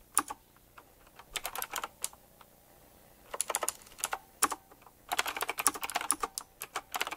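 Fingertips of both hands type on a black retro typewriter-style mechanical keyboard with round plastic keycaps and metal rims. Crisp, bright clicky keystrokes come in quick bursts separated by short pauses. Each tap dies away almost instantly, with very little low-end thump.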